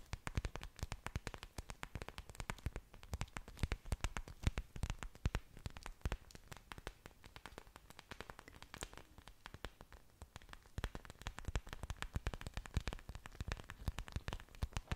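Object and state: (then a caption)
Orchid leaves tapped and scratched with nails. Long dark nails scratch and tap the large, thick, waxy green leaves of an orchid plant with exposed aerial roots, held close in front of a microphone. A rapid, continuous stream of dry, crackly clicks and taps is heard, each one short with no ring, carrying a soft low thump under faint brighter scratching, and the sound stays quiet and intimate throughout.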